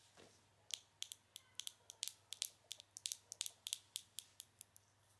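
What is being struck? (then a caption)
Small glass cosmetic jar with plastic screw lid. Long acrylic nails tap a small glass pomade jar, a cosmetic pot with a black plastic screw lid, striking both the lid and the glass side. About 21 quick, sharp clicks sound at an uneven pace, each bright and high-pitched with almost no ring, over a quiet background.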